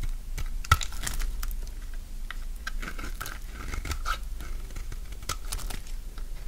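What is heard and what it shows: A solid rectangular bar of dry pink soap, held in the hand, is shaved and cut with a utility knife blade. Dry scraping and crunching cuts crackle steadily over a low rumble, with one sharp snap near the start.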